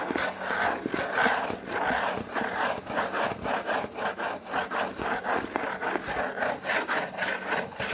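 Fingernails and fingertips scratch and rub across a white cardboard Priority Mail box in a steady, rhythmic back-and-forth. The result is a continuous dry, papery rasp with bright scratchy texture and little low end.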